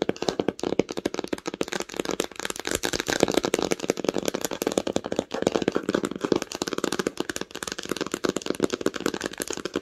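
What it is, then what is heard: Cloth hardcover book. Long acrylic nails tap fast on the cover of a red cloth-bound hardcover book lying flat on a blanket. The result is a steady, rapid stream of dry, short clicks and taps, with a soft papery body in the low mids and almost no ring after each tap.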